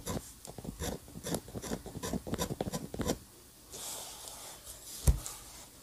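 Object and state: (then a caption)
Pen nib scratching on paper. A steel-nib dip pen scratches quick lines onto a flat white paper sheet holding an ink sketch of a building, making about fifteen short, dry rasping strokes over the first three seconds. A softer, brighter hiss follows, then a single sharp tap near the end.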